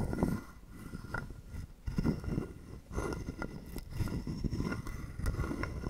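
A hollow carved wooden frog guiro is held in the hand while a wooden stick is scraped along its ridged back. The result is a series of dry, rasping croaks with a low, hollow body and brief clicky ticks. The strokes come in uneven bursts and do not ring on after each one.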